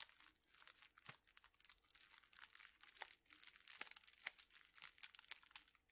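A hand-sized bundle of straws in clear plastic wrappers is squeezed and crinkled with the fingers. It gives a quiet, continuous crinkling, bright and crackly with almost no low end. Sharp snaps poke out of the rustle and die away at once.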